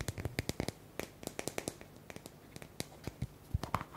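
A small round white plastic cosmetic tub with a screw lid and a paper label, likely hollow or only partly filled, is held in both hands and scratched and tapped with fingertips and short nails. Quick, dry clicks and scratches come in irregular bursts with short, bright snaps over a low hollow thump, each dying away almost instantly.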